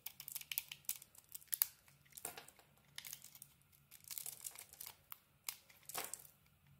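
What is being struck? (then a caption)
Soap bar. A small metal blade cuts and peels the bright pink outer coating off a solid rectangular bar of soap with a white core. Quick, dry crinkling and scraping bursts come in uneven clusters, mostly bright and hissy, over a faint low hum. The sounds are soft and close with almost no ring.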